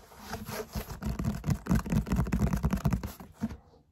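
Fingertips and short nails tap and scratch quickly over the textured surface of a large grey foam yoga mat, rolled into a hollow cylinder with a black strap and a paper label. The result is a fast, uneven run of dull, low, hollow thumps mixed with soft, scratchy rustling that builds in intensity. The sounds stop abruptly at about three and a half seconds.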